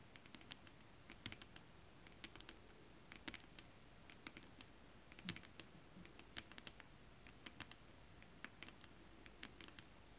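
Long acrylic nails tap quickly on flat holographic foil mermaid scale-pattern fabric. Crisp, bright clicks come in short, irregular bursts, each dying away almost instantly over a faint, steady hiss.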